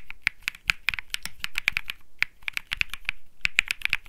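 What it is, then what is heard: Mechanical keyboard typing. Fingertips type continuously on a cream mechanical keyboard with plastic keycaps, producing a fast, irregular stream of sharp clacky key presses. Each press is bright, with a strong ring near 2.4 kHz and a light low thock underneath, and it dies away almost instantly.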